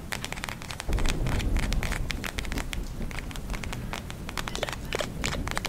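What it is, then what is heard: Plastic gel eye mask with glitter beads. A pink plastic gel eye mask filled with glitter beads is held in both hands and rapidly tapped and scratched with long nails. Dense, irregular crackly clicks and bright scratchy taps pour out continuously, with a fuller low rumble joining in after about the first second.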